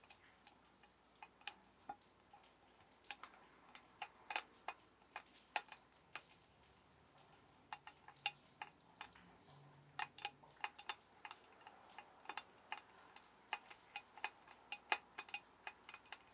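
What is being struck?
Metal soap tin.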